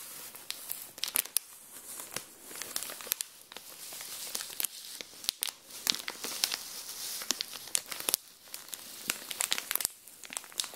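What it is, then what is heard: Plastic-wrapped pack of nail files, crinkling wrapper. A small flat pack of colorful nail files sealed in thin clear plastic wrap lies on a tile floor while long dark-painted nails and fingertips press, rub and scratch the wrapper. The result is a steady, bright, papery crinkling, punctuated by many sharp crackles and snaps.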